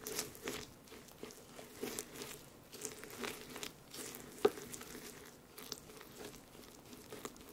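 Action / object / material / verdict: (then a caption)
scrape / pressed-powder highlighter crushed with a brush on a dish / pressed powder / none. A makeup brush with a silver ferrule and white handle mashes and scratches through pink shimmery pressed-powder highlighter that has been broken into solid, dry-to-crumbly chunks and powder, crushing them against a small white octagonal dish. Quiet, irregular crunches and gritty scratching sound throughout with bright hiss, including one sharper crunch midway.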